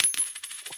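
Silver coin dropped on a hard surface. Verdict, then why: Real. Two silver quarters are dropped for a ping test, giving about five quick metallic strikes. Each strike rings with a bright, high ping that fades within a fraction of a second. The clear ring is the expected sound of genuine silver coins.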